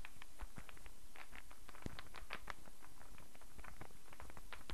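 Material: Wood.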